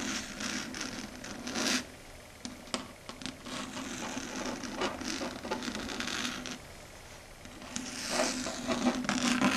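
Long red acrylic nails rub and scratch across a flat dark grey chalkboard surface, making dry, bright scraping and rasping strokes over a faint steady tone. The scratches come in uneven bursts, with a louder flare near the start and a swelling, brighter stretch toward the end.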